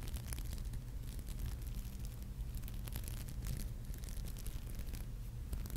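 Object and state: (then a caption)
Glass-beaded brooch being scratched. Long nails scratch and rub along the rows of glass beads on a small, flat, red beaded maple leaf brooch held in the fingers. A steady low hum dominates throughout, with faint, quick, bright scratchy ticks scattered across the clip at an even, quiet level.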